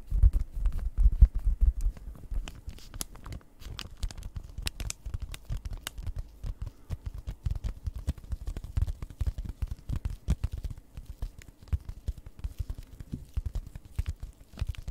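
Long red nails tap the front of a flat, packaged cross-stitch kit, a card sealed in plastic. The result is a quick, irregular run of soft, dull taps with a faint plastic crinkle, mostly low and thuddy with little ring.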